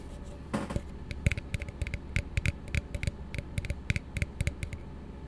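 An empty, hollow blue plastic tumbler, held upside down close to the microphone, is tapped with fingertips and nails. After a brief scratchy brush near the start, a quick, irregular run of dry, short taps follows, each with a dull low thump and a bright, clicky edge. The taps die away almost instantly over a steady low background hum.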